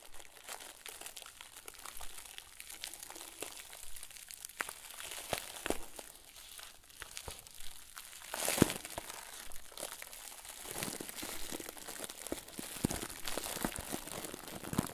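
Fingertips and thumbs squeeze and crinkle the surface of a round, head-sized white plastic bag, tied at the top and filled with soft stuffing, held over a wooden table. A steady stream of quiet, bright plastic crackles and rustles continues throughout, with a sharper, louder crunch near the middle.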